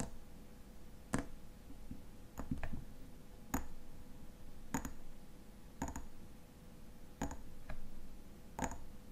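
Fingernails tap and scratch the body of a slim frosted glass lotion bottle with a silver cap, filled with white lotion. Short, sharp glassy clicks ring out at irregular intervals over a soft, low scratching rustle, all at a quiet level.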